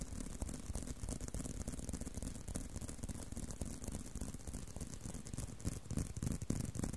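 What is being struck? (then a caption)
Leather belt with buckle. A leather belt is tapped and handled, giving a steady stream of soft, dull taps with a light rattle at roughly three per second. The sound is mostly low and muffled, with a faint high hiss, and stays even in level throughout.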